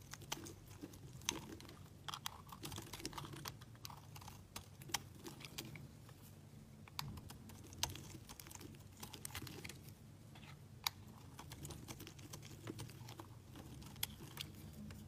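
A solid beige soap bar with embossed lettering is shaved with a utility knife blade. Dry, crisp scraping and cutting ticks repeat irregularly throughout, with occasional sharper, brighter snaps. Beneath them runs a low, steady background rumble.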